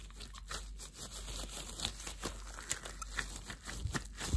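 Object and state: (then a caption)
Thin plastic disposable gloves being rubbed. Translucent, thin, clear plastic disposable gloves are worn on both hands as the fists clench and the gloved fingers rub together. This produces a quiet run of short, crinkly plastic friction sounds with bright crackle, over a steady low hum.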